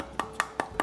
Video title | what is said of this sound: The Most Beautiful Eyeshadow Palette In The World | really tap it between my fingers there's nothing rattling around inside